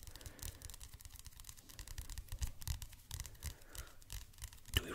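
Fingernails scratch and rub the glossy card cover of a paperback art history book held in both hands close to the mic. The result is a continuous run of dry, brushing scratches with a strong low rumble and bright, hissy edges, plus a sharper tap near the end.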